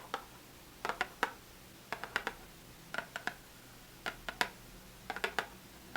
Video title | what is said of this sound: Hanging out w great sounds! ASMR softly spoken and nail tapping | And the box is hollow, so it makes lots of very, very good tapping sound.